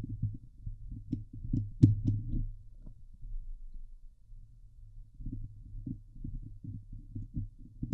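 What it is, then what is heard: Metal mesh microphone grille being scratched. Long glitter nails on both hands scratch the hollow steel mesh grille of a Blue Yeti microphone, giving fast, uneven, muffled thumping strokes that are deep and boomy, with a sharp, brighter scrape peaking near two seconds. The scratching eases into a quieter stretch in the middle, then picks back up into steady rapid rubbing until the end.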